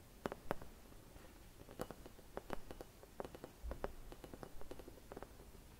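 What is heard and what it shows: Long red nails quickly tap and scratch a hollow, empty clear glass Christmas bauble with a white painted design. The result is a quiet run of short, dry clicks and light scrapes with a faint glassy ping around 570 Hz and a low rumbling background.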